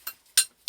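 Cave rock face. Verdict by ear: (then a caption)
Solid. A rock is tapped three times in a cave dig, under a roof of loose, slabby boulders, to check whether it is sound. Each tap gives a sharp, bright click with almost no low end and a very short ring. The rock is judged solid and continuous, not a loose boulder.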